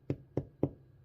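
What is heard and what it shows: Three soft, dull knocks as the top of a baked-through bread roll is tapped without a fingernail. Each tap is short and low, centered around 285 Hz with almost no ring. The roll sounds hollow, showing it is baked through.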